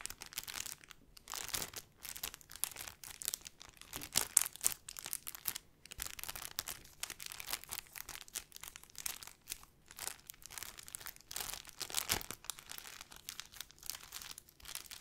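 A small, clear, crinkly plastic bag with a white label, hollow and flexible, is held in both hands and crinkled and squeezed with the fingertips. It gives a soft, steady stream of bright, dry crackles and rustles with many quick snaps and almost no low end, swelling and fading as the squeezing comes and goes.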